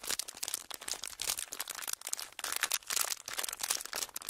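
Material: Plastic.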